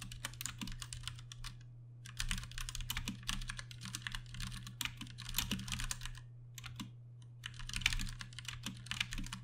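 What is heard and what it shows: Fast typing with the fingertips of both hands on a compact Ducky One 2 Mini mechanical keyboard with Cherry MX Brown switches and plastic keycaps. Bright, dense clacks come in quick bursts with short pauses between them, over a steady low hum.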